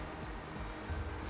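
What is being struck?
Nothing is struck.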